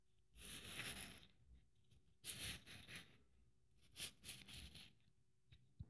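Long painted nails scratch a blue glitter Christmas ornament decorated with silver beads. Bright, gritty scraping comes in several short bursts separated by quiet pauses, with a few small ticks at the end.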